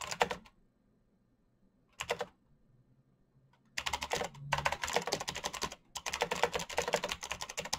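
Fingertips type fast on a solid black plastic full-size mechanical gaming keyboard with backlit keycaps and Razer green switches. Bright, sharp clicks come in a short burst, a brief flurry after a pause, and then a long, dense run of rapid keystrokes with one short break. Each click is crisp and dies away almost at once.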